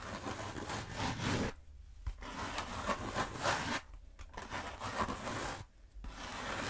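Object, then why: Foam roller. Long nails rub, scratch and tap the coarse surface of a long black foam roller. A dry, broadband scratching rustle comes in bursts, broken by brief quiet pauses, with soft taps mixed in.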